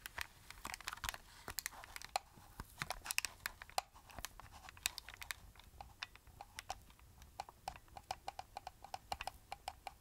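A small, hollow plastic handheld camcorder is held in both hands while fingertips and nails press and tap its buttons and casing. Dozens of quick, sharp, dry clicks and taps with a bright edge come in irregular bursts over a faint low background hiss.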